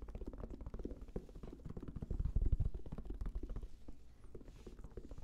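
A black, round, fabric-covered, semi-rigid Sony headphone case with a strap, hollow inside, is held close to the microphone and tapped quickly with the fingertips. The taps come in a fast, uneven patter of soft, dull, deep thumps with almost no ring, swelling louder in the middle before easing off again.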